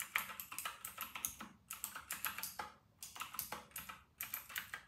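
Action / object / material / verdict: tap / plastic mechanical keyboard / plastic / none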